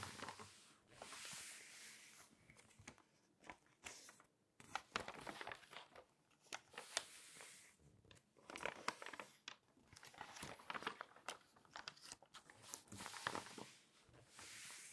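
Fingertips and long nails rub across the pages of an open glossy paper magazine with text and ad pages, and the pages are turned. Soft, bright swishing and crinkling rustles rise and fall, broken by sharp little scratches and flicks. The sound stays quiet and close, with almost no low end.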